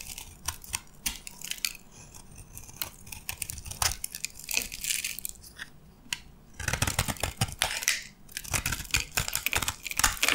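A metal box-cutter blade carves into a dark green bar of dry soap embossed "Absolut," held in the hand, lifting shavings. The carving makes dense, bright, crisp scraping and crunching strokes. The strokes grow louder and busier in the second half.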